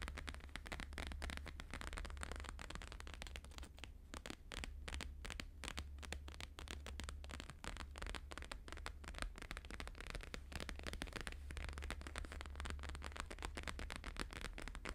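Fingertips and nails of both hands tap fast on a thin laminated holographic paper sheet resting on a fur rug. The result is a quiet, continuous stream of crisp, crackly taps and light scratches, with a steady low hum underneath.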